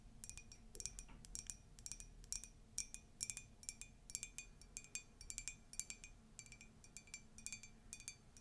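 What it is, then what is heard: Ceramic mug. Long nails tap and scratch a tall, hollow, empty white ceramic mug with a Disney icon print. The result is a quick, uneven series of bright, glassy clinks with short high ringing tones over a faint, steady low hum.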